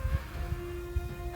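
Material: Nothing is struck.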